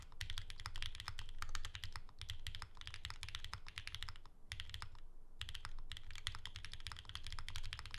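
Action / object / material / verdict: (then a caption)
tap / mechanical keyboard with plastic keycaps / plastic / none. Continuous fingertip typing with both hands on a pink ergonomic Alice-layout mechanical keyboard with plastic keycaps and a hollow case, resting on a desk mat. Dense, rapid clacky keystrokes with bright tops and a deep hollow low thump run steadily, with brief pauses around two seconds and near five seconds.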